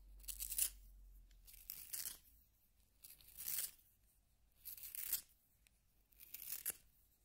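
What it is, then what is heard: Wooden pencil being sharpened in a plastic sharpener. A solid yellow wooden pencil is rotated in a small pink plastic hand sharpener, its blade shaving the wood. Five bright, dry, rasping bursts of shaving are separated by short quiet pauses.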